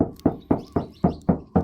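A hand knocks on the hood of a 2013 Mitsubishi Mirage, its original white paint showing a few small dents. A steady series of short, dull sheet-metal knocks lands about every quarter second, each with a low, woody thud and a quick decay.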